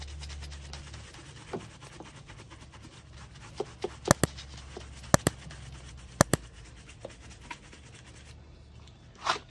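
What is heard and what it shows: A handheld shoe brush with a wooden back is rubbed back and forth over the toe and vamp of a worn black leather ankle boot with rows of metal studs, worn on a foot. A quiet, steady brushing hiss runs throughout, over a low hum at the start, punctuated by about ten short, sharp clicks and taps. A final soft brighter swish closes the clip.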